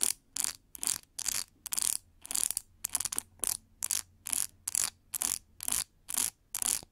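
Long gold nails scratch and flick along the many white-tipped plastic pins of a large, hollow, oval paddle hair brush with a shiny metallic pink plastic frame and white rubber cushion, held by its handle. The result is a quick, steady series of short, crisp, bright plastic rasps and clicks, with near-silent gaps between strokes.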